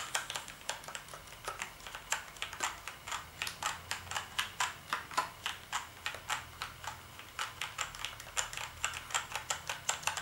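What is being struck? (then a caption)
Plastic computer keyboard. Fingertips type on the keys of a black plastic gaming keyboard with backlit keys. The sound is a steady stream of sharp, bright clicks, each dying away almost at once, in a slightly uneven rhythm with little low end.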